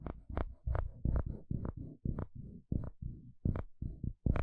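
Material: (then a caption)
Plastic. A wooden spatula scrapes repeatedly across the fine teeth of a dark blue plastic comb. Each stroke makes a short, low, buzzing rasp that starts with a brief bright click and stops quickly, in a steady run of separate strokes.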